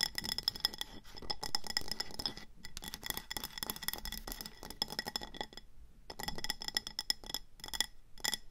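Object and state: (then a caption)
Glazed ceramic plant pot. Long nails rapidly tap and scratch the sides of a speckled grey-green glazed ceramic planter with an orange rim, filled with pebbles and a succulent, as it sits on a table; the hands then grip it and tilt it. The result is a dense run of bright, glassy clicks and clinks with short, faint ringing near 3.4 kHz over a low rustle, broken by brief pauses.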